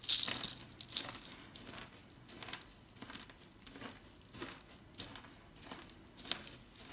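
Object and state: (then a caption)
Dry soap flakes. Fingertips rub and rake through a large pile of crushed dry soap flakes in teal, purple, pink and white, made of many small, solid, brittle pieces, on a flat surface. Bright, dry crinkling and crunching crackles come in repeated bursts, loudest at the very start, with almost no low end and no ring after each crunch.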